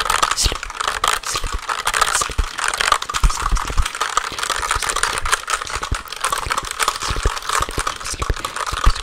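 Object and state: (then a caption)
Plastic keyboard keys tapped. A compact black plastic mechanical computer keyboard, held upright close to the microphone, has its keys tapped quickly with long nails and fingertips. The result is a dense, steady stream of sharp, dry clicks and clacks over a low thumping undertone, with a bright crinkly texture throughout.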